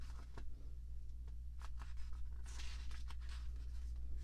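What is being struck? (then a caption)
Glossy paper magazine pages. Long manicured nails and fingertips rub and scratch the thin glossy paper pages of an open fashion magazine lying on a table, lifting pages to turn them. Quiet, brief scratchy rustles and bright papery swishes come and go over a steady low hum.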